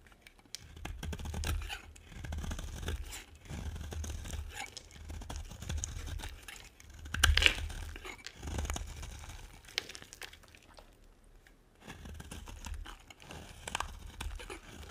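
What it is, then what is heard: Dry bar soap being scraped. A metal blade scrapes the face of a solid, dry green bar of soap, shaving it off in repeated passes. The sound is a dry, gritty scraping and crumbly crunching, coming in bursts with short pauses between them. A sharper scrape stands out around the middle.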